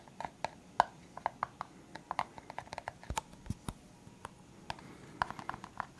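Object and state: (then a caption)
Clear plastic cup. A clear, hollow, empty disposable plastic cup is held up and tapped and scratched with the fingertips. A quick, irregular series of short, dry taps with a hollow plastic tone around 900 Hz mixes with faint scratching between them. Each tap dies away almost instantly.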